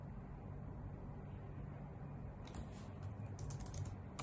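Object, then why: Plastic computer keyboard keys. Long nails and fingertips type on a white full-size plastic computer keyboard with hollow key caps. Quiet, bright clicky taps come in after a couple of seconds over a steady low hum and continue to the end.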